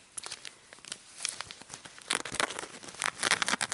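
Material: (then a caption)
Fabric. Fingernails scratch and rub the embroidered patch on a small, soft, grey polka-dot fabric coin purse with a metal kiss-lock frame. Dry, bright scratching and crinkly rasps come in short bursts, quiet and sparse at first, then denser and louder in the second half.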